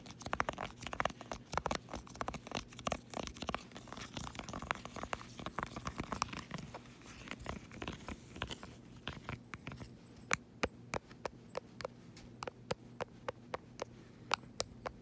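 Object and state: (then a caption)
Plastic remote control, tapped and scratched. Fingertips and nails rapidly tap and scratch the rubbery colored buttons of a small, flat, solid black plastic LED remote control resting on a fuzzy blanket. For the first ten seconds, dense, quick clicky taps blend with scratchy, crinkly rustling over a faint steady low hum. The sound then thins into sparser, sharp, bright clicks that stop almost at once.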